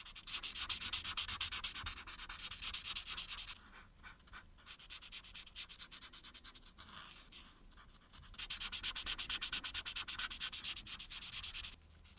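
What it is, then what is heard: Felt-tip marker colouring on paper. A marker's felt tip rubs back and forth across a thin printed paper coloring sheet lying flat, colouring in the shoes. It makes rapid, bright, scratchy strokes in a steady rhythm: two loud stretches of vigorous rubbing are separated by a softer, quieter passage of lighter strokes.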